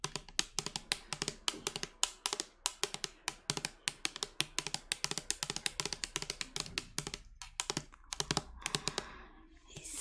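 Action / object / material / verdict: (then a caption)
tap / plastic pump bottle of liquid soap / plastic / none. Long nails tap and scratch the body of a translucent plastic liquid soap pump bottle that appears partly full of soap. Rapid, sharp, bright clicks come in a steady stream with very short decay. Near the end the taps thin out and give way to a softer scratching hiss.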